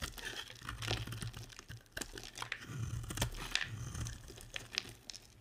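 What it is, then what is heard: Dry bar of soap being carved. A box-cutter blade carves and scrapes flakes off the end of a solid, dry, hand-sized bar of pink and white striped soap. The result is a run of crisp, crunchy scrapes and crackles with bright edges over a steady low hum.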